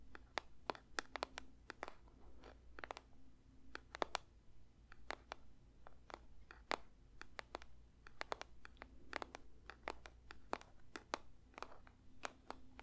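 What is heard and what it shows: Fingers lightly tap a paper box in an irregular run of dozens of soft, dry clicks, each dying away almost at once. The taps are crisp and bright with a papery rustle, over a faint steady low hum.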